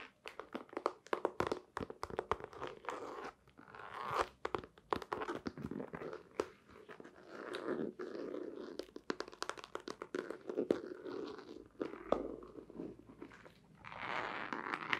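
Long painted nails tap and scratch a long, flat, hollow white cardboard box with a black stripe while it is held. The result is a quiet, dry stream of rapid crunchy clicks and rough scratching swells, centred in the low mids with almost no bass, each tap dying away almost instantly.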